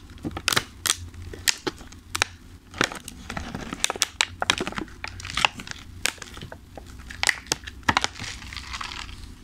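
Fingertips tap and squeeze a thin, clear plastic clamshell food container full of pastries, and the container is lifted at the end. Many sharp, bright crinkling taps and crackles stop instantly, with a faint low hum running steadily underneath.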